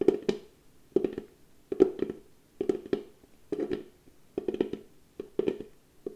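A small hollow cylindrical box of pale wood, held in both hands, is tapped and scratched on its flat lid with long painted nails and fingertips. Short clusters of dry, hollow knocks with a woody resonance around 380 Hz come in slow, uneven bursts. Brief scratchy, bright clicks ride on top, and each hit dies away almost at once.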